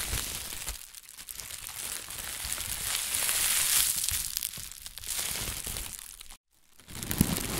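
A thin white plastic bag is gathered at the handles, then inflated so it is hollow, and crumpled and squeezed with the hands and fingertips. It makes a dense, bright crinkling and rustling that swells to its loudest near the middle, drops out briefly to near silence just past six seconds, then resumes.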